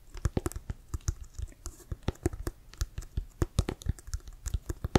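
Fingernails tap and scratch the laces and pebbled surface of a brown Wilson leather-covered American football, hollow and inflated and held in both hands. Around 29 quick, uneven taps land as dull, low thuds with faint bright clicks and soft scratching between them. Each tap dies away almost at once.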